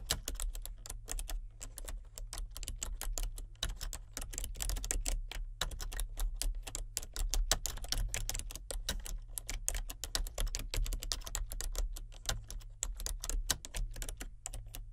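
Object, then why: Plastic computer keyboard. Continuous, steady typing with fingertips and nails on a full-size plastic computer keyboard with color-changing backlit keys. It produces rapid, dense, bright plastic clicks and taps over a constant low hum.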